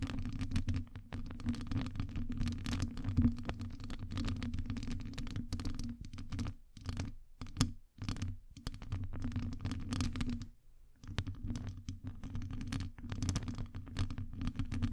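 Long nails scratch a hollow metal wire-mesh microphone grille from both sides, producing dense, continuous rasping and scraping with a heavy, boomy low rumble. The scratching runs almost without a break, pausing briefly near 7 and 8 seconds and again around 11 seconds before resuming.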